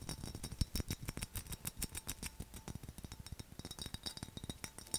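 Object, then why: Textured glass mug with lid. A mid-sized, hollow black textured glass mug with a skull relief, a handle and a lid is tapped and scratched fast with fingernails and fingertips. Many quick, short, dry clicks and scratches come in an irregular rapid stream, with bright edges and some low thumps. A faint steady tone hums underneath.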